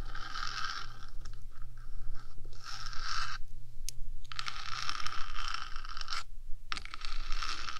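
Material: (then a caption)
Metal. Long nails tap and scratch the top of a 3Dio microphone's small metal housing, first with one hand and then with both. Dense scratchy rasps, crunches and quick taps come in bursts with brief pauses, set over a steady low hum.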